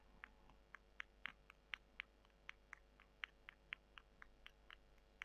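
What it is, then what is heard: Dry soy chunks scratched with nails. Long nails scratch and squeeze two small, solid, dry, porous brown soy chunks, one held in each hand over a white table. A quiet run of sharp, dry, crackly clicks sounds at an irregular pace, centered around 2 kHz with brighter edges, over a faint steady low hum.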